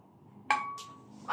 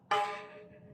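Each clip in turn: First: steel bicycle spokes, high ringing tone. Second: stainless steel bicycle spokes, high ringing tone.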